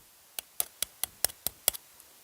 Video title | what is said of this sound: Kalibak (The Darkseid War) Mega Fig - Overview - MandoAllDay #dcmultiverse #darkseid #dccomics | it just feels Hollow like it's very empty